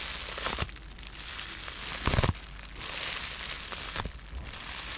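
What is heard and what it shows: A rolled-up tube of blue-tinted polyethylene bubble wrap with air-filled bubbles is held in both hands while fingertips and short nails squeeze and pop the bubbles. Steady bright crinkling runs throughout, broken by sharp pops that are loudest in a cluster just after two seconds.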